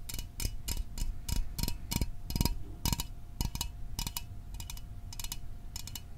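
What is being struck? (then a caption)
Small aluminum soda can. A small aluminum Fanta soda can, held in the hands, is tapped with fingernails. The result is a quick run of sharp, dry, tick-like taps with very short ring, some in tight pairs.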